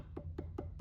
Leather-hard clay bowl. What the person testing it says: this still has a nice like thump thump, like nice like solid sound to it, right? You can hear that it's clay. It's not super hollow sounding.